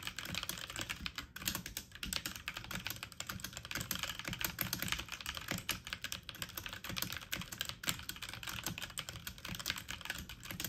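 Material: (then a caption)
Plastic. Fast typing on a full-size backlit mechanical computer keyboard with plastic keycaps, the keys pressed quickly with fingertips and medium-length nails. The sound is a dense, steady stream of short, bright plastic clicks and taps that stop almost instantly, with a soft low thud under each keystroke.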